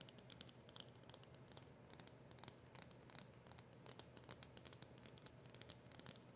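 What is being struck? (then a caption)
Small cardboard packet. Long nails scratch quickly across the round label of a small, flat cardboard polishing cloth packet. The result is a dense run of crisp, bright scratching ticks over a soft, low rumbling bed.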